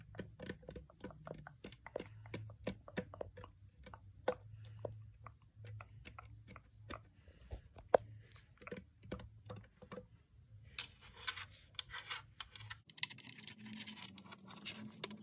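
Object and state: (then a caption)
Plastic nail lamp, hollow. Fingers and long nails tap and scratch a pink, hollow plastic UV nail lamp with a display. Dozens of quick, dry, hollow clicks come first over a faint low hum. The sound then shifts into denser, brighter scratching as the hum drops out near the end.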